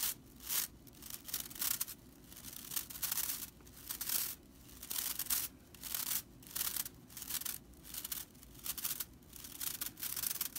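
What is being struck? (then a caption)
Straw whisk broom bristles. Long nails scratch and flick the tips of a dry straw whisk broom's bristles. The result is bursts of bright, dry, crackling rasps that come and go in short repeated strokes, with brief quieter gaps between them.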